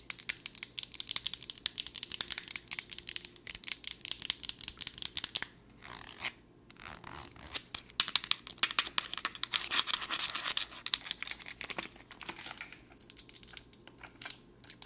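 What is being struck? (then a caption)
Plastic pill bottle. A plastic ibuprofen pill bottle with a teal cap and paper label, filled with pills, is tapped and scratched with long nails. Fast, dense clicks and scratchy strokes sit almost entirely in the high, bright range, with a brief quieter pause around six to seven seconds before the rapid tapping resumes.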